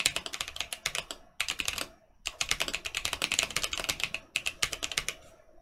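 Fingertips of both hands type quickly on a Mercutio 40% mechanical keyboard with Boba U4T switches and plastic keycaps, with one hand typing alone at the end. Rapid bursts of short, bright clacks centered around 2.6 kHz are heard, with a brief pause near the two-second mark. The typing thins out toward the finish.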